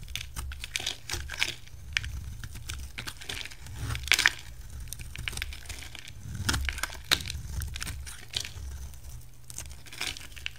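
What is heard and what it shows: A utility knife shaves along the edge of a solid blue-and-white striped rectangular bar of soap, and striped flakes fall away. Dry, crisp scraping and crackling bursts come in irregular clusters, bright and papery, over a steady low hum.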